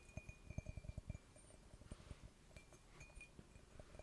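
A large porcelain mushroom mug, received as a Christmas gift, is clinked. A quick run of soft, short clinks comes in the first second, then sparser, quieter taps follow. Each clink is dull and low with a faint high ring.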